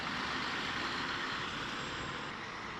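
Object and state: Nothing is struck.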